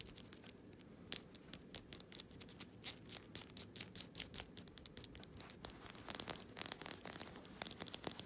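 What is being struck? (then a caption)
Glass candle jar filled with wax. Long painted fingernails tap and scratch the bottom, label and sides of a small, solid glass jar candle filled with cream-coloured wax, its glass lid sitting separately on the table. A quiet, rapid stream of sharp, bright clicks and scratchy rubs comes through, each tap dying away almost at once with no ring.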